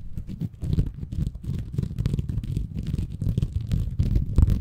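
A small, green, porous bamboo fiber sponge, soft and compressible, is held in both hands above a Tascam recorder while fingertips scratch and squeeze it. The sound is a dense run of muffled, low rumbling scrapes and soft crackles, with faint airy hiss above. It pulses continuously without a clean break.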